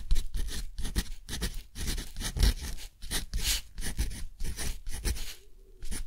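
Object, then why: Metal pen nib on thick cotton paper. A metal dip-pen nib scratches across a flat, thick, rough-textured cotton paper sheet held by a hand, writing in continuous handwriting strokes. The sound is a series of dry, bright scratching bursts separated by brief pauses, over a soft low rumble.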